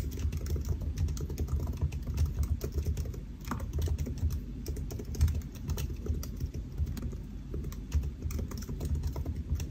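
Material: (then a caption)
Plastic. Fingertips of both hands type steadily on the black plastic keys of a solid silver aluminium laptop resting on a white desk. The result is a continuous stream of rapid, soft tapping, dominated by low, muffled thuds with faint brighter clicks. The pace stays even throughout, with a few slightly louder strikes near the middle.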